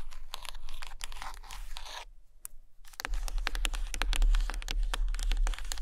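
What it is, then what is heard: Stack of hardcover books tapped and scratched with nails. Long patterned nails tap and scratch along the top cover edges and spines of a stack of Russian hardcover books made of solid paper and cardboard. A stretch of dry, bright scratching fades into a brief near-silence, then gives way to quick, irregular crisp taps mixed with scraping strokes.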